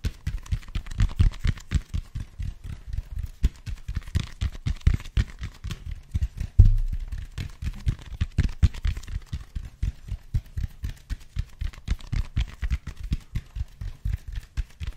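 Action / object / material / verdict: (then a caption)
tap / expanded foam roller / expanded foam / none. A large black foam roller of speckled expanded foam, held upright in both hands, is tapped with the fingertips on its side and end. It gives a rapid, continuous run of soft, dull, low thuds with almost no ring, with one louder thump about midway.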